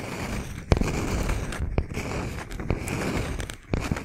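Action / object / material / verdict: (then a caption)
tap / wooden log slice with bark / wood / none. A solid, palm-sized round slice of tree trunk with a bark edge and visible rings is held in both hands, tapped and scratched with fingernails. Continuous dry, crackly scratching fills the clip, broken by a few sharp, quick-decaying taps with a dull low thump. The overall sound is dark and low-heavy, with little bright content.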